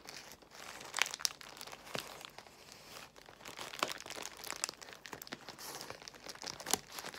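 Long nails scratch across a large bundle of clear plastic bubble wrap while fingertips squeeze the bubbles. A steady, bright crinkling runs throughout, broken by sharp, crisp snaps and crunches with almost no low end.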